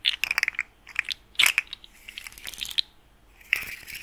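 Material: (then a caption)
Plastic. A small, hollow, rainbow-colored plastic articulated slug fidget toy with ring-shaped segments is held in both hands while its segments are twisted and bent with the fingertips. This produces dry, bright clicking and ratcheting in quick irregular bursts separated by brief pauses. Each click stops almost instantly, with nearly nothing in the low end.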